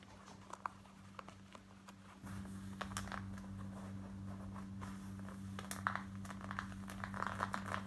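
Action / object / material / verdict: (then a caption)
scrape / cotton denim jeans / denim / none. Long white nails scratch the front pockets and back waistband of black cotton denim jeans worn on the body. Fast, uneven scratches and brief crinkly bursts sit over a steady low hum that gets louder about two seconds in.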